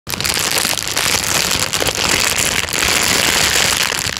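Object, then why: Thin plastic bag. A thin, clear, empty plastic bag is held loosely in front of the microphone and crinkled and squeezed with the fingers of one hand. It makes a dense, continuous, bright crackling rustle with very little low end. The sound stays steady for about four seconds.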